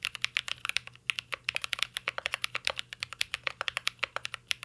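Fingertips type continuously on a mint-green Cyberboard R3 mechanical keyboard with plastic keycaps and an aluminum case. About forty quick, bright, clacky keystrokes land in a steady, uneven rhythm, each one sharp and dry and dying away instantly. There is almost no low end, and a brief pause falls just before the one-second mark.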